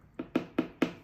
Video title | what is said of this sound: เหล็กติดปลายเท้า (Toe plate) คืออะไร? มีประโยชน์อย่างไร? ควรเอารองเท้าไปติดหรือไม่? | มันเคาะแล้วเสียงคือเสียงมันไม่ดังกริ๊บกริบคือเวลาเราใช้โทเพลตบางอันเนี่ยมันกริบกริ๊บ